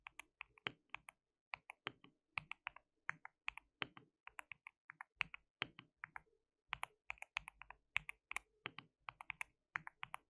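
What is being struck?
Plastic mechanical keyboard.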